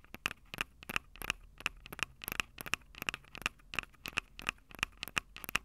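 Long acrylic nails tap and scratch the two metal-grilled microphone capsules on top of a Tascam DR-05 handheld recorder, whose small, hollow body is plastic. About 23 sharp, bright clicks land in a quick, uneven rhythm, each dying away almost at once with a faint metallic ping near 2.7 kHz. Soft scratchy rustles fill the gaps between taps.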